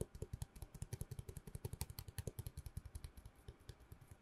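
Long nails tap fast on a long, hollow cardboard tube held in both hands close to the microphone. About 35 quick, dry taps each give a short, low, hollow thump with a faint bright click on top, and the resonance dies almost instantly.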